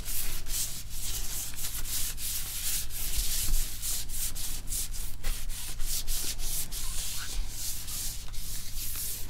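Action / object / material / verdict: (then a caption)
scrape / glossy laptop screen rubbed with a small cloth / glass / none. A small cloth rubs back and forth across the glossy screen of an open laptop held sideways. The result is a steady, bright swishing hiss of repeated wiping strokes over a constant low hum.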